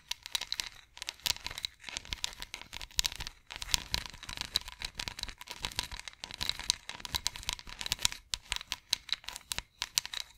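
Long nails scratch along the ridges of a long, ridged wooden massage roller held diagonally. The result is a rapid, dense run of bright, dry clicking and rasping ticks in uneven bursts, with a faint steady tone running underneath.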